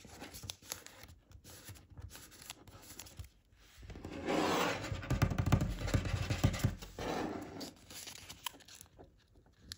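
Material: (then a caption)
Paper. A sheet of thin origami paper is folded into a crane on a wooden table, creased with fingertips, then lifted and folded in the hand. Soft, close crinkles and taps come first, then a louder, denser stretch of crinkling, tearing-like rustle in the middle before it settles back into quiet, scattered paper sounds.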